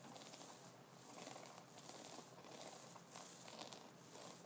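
Fingertips of both hands scratch and flick a double-sided brush held upright, with a wooden body, white synthetic bristles on one side and wooden nubs on the other. The result is a quiet, continuous scratchy crackle with a bright, hissy texture, swelling in soft waves with brief brighter brushing bursts.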